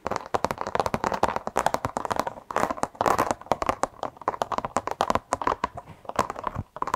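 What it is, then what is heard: Carpet car floor mat. A black textured carpet car floor mat, held in both hands close up, is tapped and scratched with long acrylic nails. Over about seven seconds, a dense, irregular run of short, dry taps and scratchy rustles comes in quick bursts with brief pauses. The sound is centred in the midrange, with almost no low end or bright hiss.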